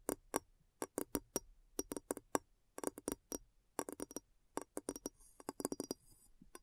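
A glass bowl is tapped in quick, irregular bursts, giving about 25 short, dry clinks. Each tap has a low-mid body around 290 Hz with bright glassy overtones and dies away almost at once. The taps come in clusters with brief pauses between them, ending in a faint high shimmer.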